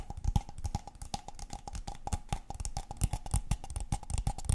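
A tall, empty, hollow brown kraft paper cup held in one hand is tapped rapidly with the long painted fingernails of the other hand. The taps make quick, dull, hollow low thuds with sharp clicky tips and a faint steady tone near 780 Hz, each dying away almost at once in an uneven, continuous patter.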